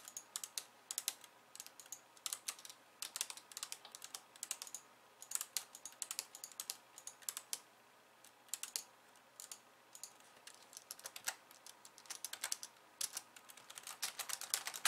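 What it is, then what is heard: Plastic computer keyboard. Long painted nails type on a pink low-profile plastic keyboard with white keys resting on a wooden desk, first with one hand and then with both. Quiet, bright, crisp clicks and taps come in rapid, uneven bursts with short pauses. Each click dies away almost at once, with no low-end body.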